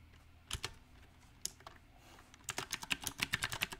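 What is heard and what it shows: Fingertips type on a backlit compact mechanical keyboard with round typewriter-style plastic keycaps set on a silver metal frame. A few scattered clicks come first, then a faster, uneven run of bright, sharp keystrokes in the second half. Each click is short and dry with almost no ring.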